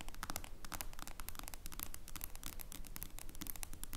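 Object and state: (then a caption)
Smartphone in plastic case scratched with fingernails. Long blue nails quickly scratch the screen and clear plastic case of a smartphone lying flat. A dense, continuous stream of fast, crackly scratching and tapping, with bright clicks over a faint low rumble. The scratching holds a steady, unbroken level throughout.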